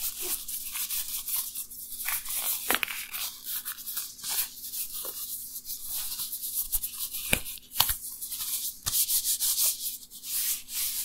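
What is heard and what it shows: Dry, thin, flexible black nitrile rubber gloves worn on both hands rub and stretch against each other in front of the recorder. The result is a steady, bright, hissy rubbing and squeaking texture, broken by several sharp snaps as the rubber pulls and releases.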